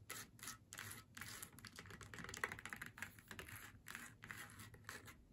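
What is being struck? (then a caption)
Faux leather snowman door hanger. Long nails tap and scratch across the face and hat of a flat faux leather snowman door hanger lying on a table. The result is a quiet, steady run of dry, bright scratching bursts with soft, short clicking taps scattered between them.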